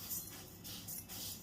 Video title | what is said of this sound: पौष्टिक उडीद मूग लाडू भरपूर टिप्स- साखर आणि साखर विरहित -- Winter special Healthy Ladoo Recipe | मुगाची डाळ इथे छान भाजली गेलेली आहे मस्त कुरकुरीत आवाज येतोच आपण बघतोय